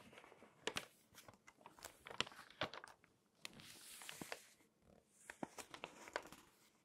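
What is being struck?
Glossy paper magazine pages.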